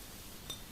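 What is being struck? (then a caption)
Small glass vase. A finger taps once on a small glass vase, giving a single quiet, high clink near 3.6 kHz that rings briefly over a low background hum.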